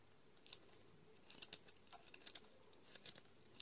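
A metal utility-knife blade scrapes and shaves the surface of a solid white soap bar with pink and blue stripes, held in fingers with long red-painted nails, producing powdery flakes. A series of short, crisp, bright scratches sounds at irregular intervals over a quiet background, each dying away almost instantly.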